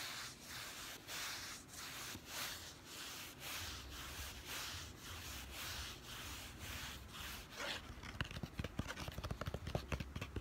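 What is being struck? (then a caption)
Plastic instant camera body. A hollow, handheld yellow plastic Instax Mini instant camera is rubbed and scratched across its body and lens ring with fingertips and medium-length nails. Steady, breathy rhythmic strokes give way near the end to faster, sharper, clicky scratching with bright texture.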